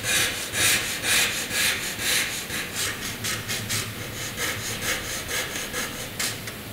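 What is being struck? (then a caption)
Graphite pencil on drawing paper. A graphite pencil draws thick rectangle outlines on a flat white drawing paper sheet, its point rubbing across the paper. Quick, fairly regular back-and-forth strokes, about two per second, make a bright, dry scratching hiss. The strokes gradually soften toward the end.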